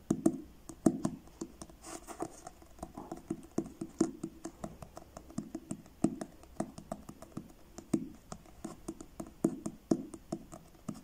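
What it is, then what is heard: Paperback book with card cover. Fingertips tap the front of a blue card-covered paperback book held upright, producing a steady stream of soft, dull taps. Each tap is a short, hollow thump centred in the low-mids that dies away almost instantly. A few taps land harder than the rest, with faint papery scratches in between.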